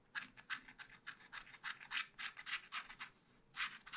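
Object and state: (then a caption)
Scratch-art card scraped with a stylus. A long wooden stylus scratches the lower part of the picture on a thin black coated scratch-art card in a spiral pad. It makes a quiet series of quick, uneven dry scratching strokes with a bright, papery hiss, briefly pausing before a final flurry.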